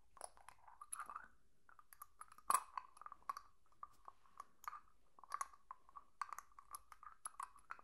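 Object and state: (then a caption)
Small glass jar. A small, hollow, clear glass jar with a lid is held in one hand and tapped and scratched with long nails. Quiet, scattered clicks and brief scratching produce a short glassy ring around 1.1 kHz, with bright ticks on top and irregular pauses between the strokes.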